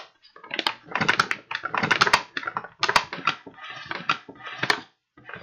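An empty, hollow kraft paper bag with blue print is tapped and crinkled by fingertips, then opened and squeezed by hand. The result is bursts of dry, crackling paper rustle with sharp bright snaps, separated by short pauses.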